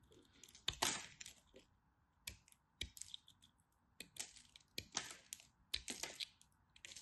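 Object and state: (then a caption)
Dry bar soap being carved. A craft knife carves crunchy bits off a small, dry chunk of teal and white striped bar soap held in the fingers. Repeated short, bright, crisp crunches and scrapes break out against quiet, with a faint steady mid-range tone underneath.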